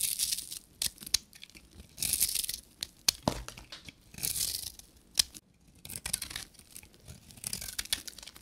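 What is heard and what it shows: A short metal knife blade shaves the edges of a solid, dry pink bar of soap, and fine powder comes off. Dry, bright scraping bursts alternate with sharp clicks and brief pauses, with almost no low end.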